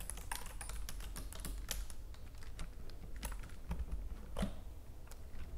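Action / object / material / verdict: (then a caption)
tap / plastic computer keyboard / plastic / none. Long nails and fingertips type and tap rapidly on the keys of a white plastic computer keyboard, seen close up. Quick, bright plastic clicks patter in an uneven stream over a steady low hum, each click dying away almost at once.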